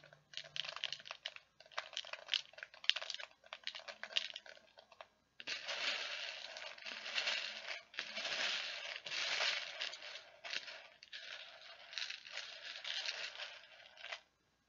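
A hand with long painted nails stirs and rakes through a clear plastic tub with a blue handle, about half full of small plastic perler beads. The beads rattle and crunch against each other and the tub walls in bright, dry bursts. Short separate scoops give way to a brief pause, then denser, continuous raking.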